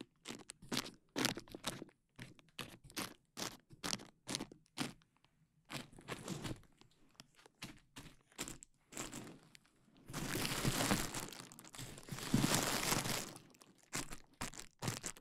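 Fingers pinch and pop the bubbles on a large sheet of clear plastic bubble wrap draped over a microphone. Quick, sharp, bright pops and crackles come in an irregular stream. Toward the end they give way to a few seconds of dense, continuous crinkling as the plastic is squeezed, before the separate pops return.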